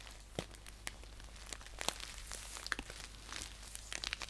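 Fingernails scratch and tap across the surface of a green paper tea pouch lying flat. The result is a quiet, crisp crinkling and scratching texture, punctuated by short, bright ticks that stop almost instantly, over a faint, steady low hum.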